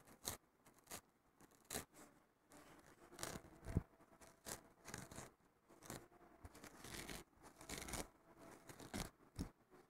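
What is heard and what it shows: Fingertips and short nails scratch and rub the rough surface of a thin, flat green abrasive nylon scouring pad lying on a wooden table. Quick, dry, bright scratching strokes come in uneven bursts, separated by softer, continuous rubbing. The sound is close and rasping, and each stroke stops dead with no ring.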